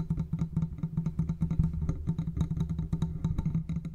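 A large silver metal condenser microphone, with a hollow metal body and mesh grille, is tapped and scratched with the fingertips of both hands. The result is a rapid, steady run of short, dull taps and soft scratches that decay almost instantly. The sound is dominated by low, boomy thuds with a low resonant tone underneath.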